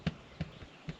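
Three hollow, low taps on a ceiling patch of roofing felt that covers an opening into the attic above a bedroom and bathroom, put in during a bathroom renovation about 8 to 10 years ago. Each tap is a short, dull thud centred around 160 Hz that dies away almost at once. The spot sounds hollow because of the opening behind the felt.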